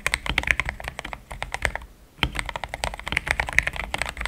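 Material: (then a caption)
Plastic. Fingertips type fast on a solid, compact, pink-cased mechanical keyboard with thick cream XDA plastic keycaps. A rapid run of short, bright clacks centred near 2 kHz, each dying away almost instantly, pauses briefly around the two-second mark and then resumes at the same quick pace.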